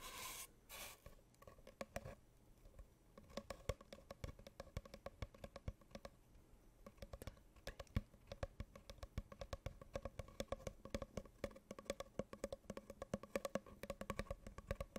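Long painted nails rapidly tap the side of a hollow, empty brown cardboard tube held diagonally near the microphone, after a brief scratchy rustle at the start. The quick, dry taps give a soft, hollow tone that fades almost instantly, and the tapping continues steadily throughout.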